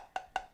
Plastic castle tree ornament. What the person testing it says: sounds like it's hollow on the inside, which is to help with the weight